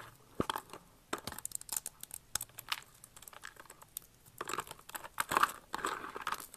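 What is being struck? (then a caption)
Dried soap shavings. Fingers with long red nails crumble and crush a pile of thin, hard, brittle blue and pink dried soap shavings in a box. The result is a series of dry, bright crunches and crackles in irregular bursts, with louder, denser crushing toward the end.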